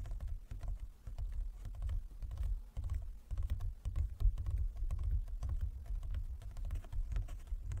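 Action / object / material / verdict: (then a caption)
tap / wooden folding chess board / wood / none. Fingertips and nails of both hands tap rapidly and unevenly on a large, closed, hollow wooden folding chess board. The taps land as dense, overlapping knocks with a deep, hollow, woody body and a thin, bright click from the nails, each dying away almost instantly.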